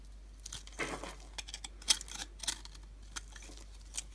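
A utility knife shaves thin slices off the surface of a solid, palm-sized, translucent pink bar of dry soap held in the hand. Short, crisp scrapes and crunchy crackles come in scattered bursts over a quiet background, bright and dry with almost no ring.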